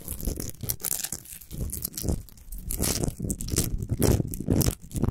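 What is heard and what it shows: Fingernails scratch fast and aggressively across the rough surface of a tall, orange, solid Himalayan rock salt lamp. The result is a dense, continuous run of gritty, crunchy scraping in uneven bursts, with a heavy low rumble under bright, hissy streaks.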